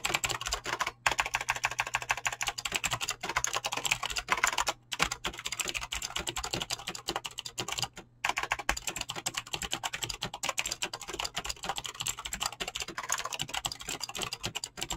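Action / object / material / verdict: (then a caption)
tap / mechanical keyboard with PBT plastic keycaps / PBT plastic / none. Fingertips fast-type on a mechanical keyboard with clicky green switches and PBT plastic keycaps. Dense, rapid, bright clicks run continuously, with a few brief pauses near 1, 5 and 8 seconds, over a faint low hum.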